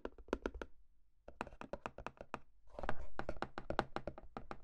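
A small, hollow white printed cardboard box (Rode NT5 microphone packaging) is held in the hands and tapped and knocked with the fingertips. About 23 quick, dull, hollow thunks land in irregular bursts, with a brief pause after the first cluster. Each knock is short and dry with almost no ring, and the sound sits mostly in the low end.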